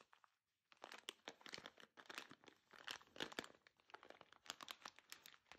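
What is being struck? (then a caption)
Metallized foil coffee bean bag. Long dark-painted nails and fingertips tap, scratch and press a large, apparently full Lavazza Qualità Oro coffee bean bag made of shiny gold metallized foil, lying on a grey surface. After a brief pause near the start, a dense run of sharp, bright crinkles, crackles and clicks follows, each dying away almost instantly with very little low end.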